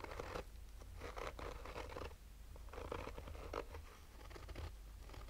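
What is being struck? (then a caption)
Fabric-covered hard-shell sunglasses case. Fingernails of both hands slowly scratch a black, oval, textured fabric-covered hard-shell sunglasses case with a hollow rigid shell. Soft, dry rasping comes in bursts over a steady low rumble and stays quiet throughout.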